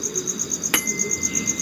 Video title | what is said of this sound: Ngopi Malem para Kolekdol Keris Tosan Aji Nusantara | Kalau besinya ini lumayan, melihat kualitas besi dengan cara disentil atau dilolos dari warangka, tungingnya panjang sekali